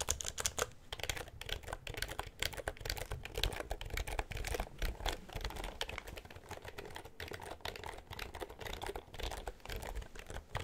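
A black, full-size plastic computer keyboard with a hollow housing is held upright near the microphone while fingertips press and tap the keys and the palm pushes down on them. The result is a steady stream of dense, rapid clicks and clacks, with hollow low thumps from the housing under bright, crisp key snaps that die away almost instantly.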